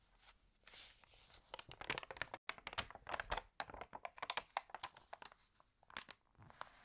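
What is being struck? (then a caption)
Paper magazine pages. Hands rub the pages of an open, water-damaged paper home magazine and flip a page with a crinkle. Dense, dry crackles and crisp rustles come in quick, uneven bursts, bright and thin with almost no low end. The paper gives a close, papery crunch that stops short with no ring.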